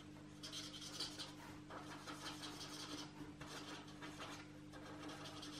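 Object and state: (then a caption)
Marker strokes on a paper coloring book page. A marker is rubbed in short strokes over the paper page of an open paperback coloring book lying flat, while the other hand holds the page. Soft, bright scratchy rasping comes in repeated bursts over a steady low hum.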